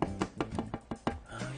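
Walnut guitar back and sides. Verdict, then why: Warm. A luthier knocks seven times on the California walnut back and sides of a guitar in progress, giving short, dull, low-pitched taps that die away almost at once. The tap shows a warm-sounding wood that is crisp and alive but warmer than rosewood.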